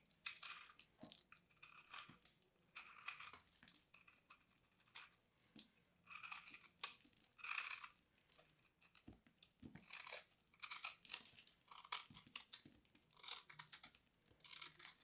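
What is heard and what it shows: A small knife blade carves and scrapes into a palm-sized, solid, dried white soap bar with an embossed logo, held in hands with dark nails. Bursts of crisp, crunchy cutting and scraping repeat throughout, bright and high with almost no low end, separated by short quiet gaps.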